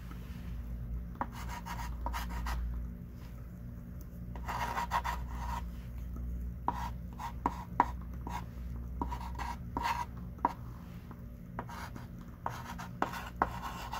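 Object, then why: Chalk stick on a wooden-framed chalkboard. A hand writes on a small wooden-framed chalkboard lying flat with a thick pink chalk stick. Soft scratching strokes with a midrange tone near 1 kHz alternate with short, sharp chalk taps over a steady low hum.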